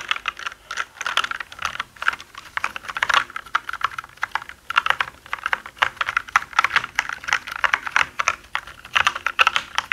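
Both hands type with their fingertips on a black mechanical keyboard with plastic keycaps, producing a dense, steady stream of short, sharp key clicks. The clicks are bright and snappy, centred around 1.3 kHz with high crisp edges, and have almost no low end or lingering ring.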